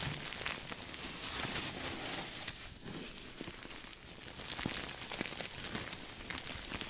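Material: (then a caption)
Sequins. A soft, stuffed cream sequin throw pillow is held up beside the mic and scratched and rubbed with fingertips and nails. The result is a steady, dense, bright crackling rustle of sequins, with occasional sharper clicks standing out from the texture.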